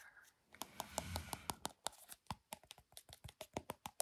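Long painted fingernails tap and scratch a small, light-green, soft plastic Glow Recipe skincare squeeze tube, hollow and apparently filled with product, held close to the microphone. A brief scratchy rustle early on gives way to a quick run of about 21 crisp, dry plastic clicks. The taps are quiet, bright and short, each dying away almost instantly.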